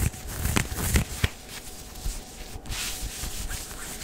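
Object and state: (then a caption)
Synthetic leggings fabric being scratched. Fingertips and nails scratch and rub the tight stretch fabric of worn dark grey smooth synthetic leggings at the hip and waistband area. Soft, low rubbing is heard throughout, with three sharper scratches standing out early, followed by steadier brushing with a bright hiss.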